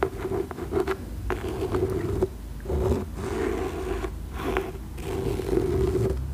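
Long nails scratch and trace along the fabric cover and label of a cream cloth-bound hardcover book held upright. The result is a continuous dry, raspy scraping with a steady low buzzing tone, rising and falling in short strokes with brief quieter gaps between passes.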